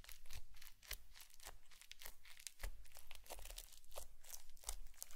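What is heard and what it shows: A green plastic comb is dragged and pressed through a flat blue slime mound with small foam beads on a white plate, scratching grooves into it. Dense, bright crunching and crackling pops come in quick bursts over a steady low rumble, leaving a crisp, crinkly texture throughout.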